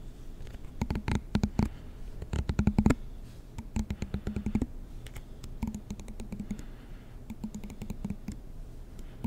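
A black plastic comb with long teeth is held close to the mic, and its teeth are strummed and flicked with a fingertip and nail. The result is bursts of quick, dry clicks and ticks with a soft low hum under them. Each tick dies away almost instantly, with short pauses between the runs.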